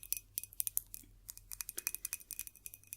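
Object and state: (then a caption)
Drinking glass. A drinking glass is tapped in a quick, irregular series of about 23 light taps. Each tap gives a bright, high, glassy click that dies away almost instantly, over a faint low hum.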